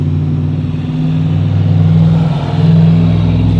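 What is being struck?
Nothing is struck.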